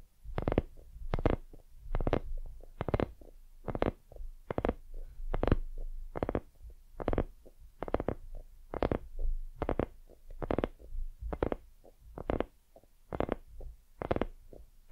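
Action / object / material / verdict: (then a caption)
tap / soft silicone lamp / silicone / none. Long nails scratch and tap the surface of a white, soft, hollow silicone dumpling lamp. The sound is a steady run of dull, low thumps, each with a sharp bright edge, and softer scratchy taps fall between them.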